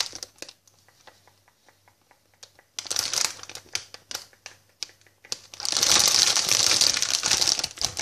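A hand-sized, flexible white "I love sweets" plastic packet with a clear window, filled with sweets, is tapped and scratched with long painted fingernails and then crinkled in both hands. Soft, quick fingernail taps give way to sharper, louder scratches. The sound builds into a dense, continuous, bright crinkling.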